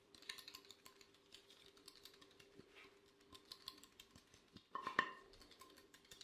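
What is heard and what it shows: Gloved fingertips tap rapidly on the surface of an empty, glossy black square ceramic plate held in gloved hands. The result is a quiet, continuous patter of light, clicky taps with a faint ringing tone around 1 kHz, building to a louder, brighter cluster of taps near the five-second mark.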